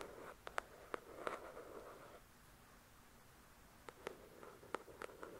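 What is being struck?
Paperback book with card cover.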